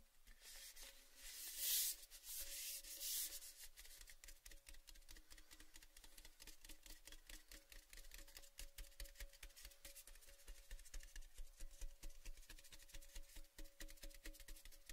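Fingertips and nails tap and scratch the side of a hollow, orange-painted cylindrical metal Baileys gift tin held in both hands. Bright, hissy scratching swells near the start, then gives way to a long run of quick, irregular light taps. A faint metallic ring hangs under the taps.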